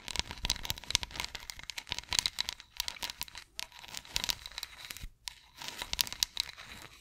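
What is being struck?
Ridged wooden massage roller.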